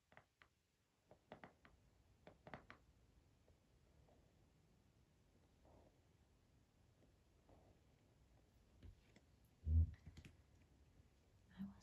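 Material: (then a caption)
Cardboard. Long acrylic-painted fingernails tap and click on a small rectangular cardboard box holding a Zodiac Oracle card deck, held in both hands. Quiet, short, dry taps and clicks come in scattered clusters over a faint low hum, with a louder, deeper thump near the end.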